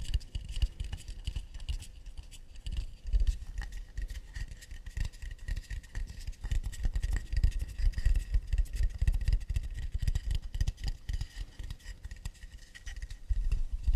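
Tapping and scratching on an acacia wood plate. The result is a dense, irregular run of quick, dry taps mixed with scraping, each tap dying out almost at once. The sound is heavy in low thuds, with a faint steady tone higher up.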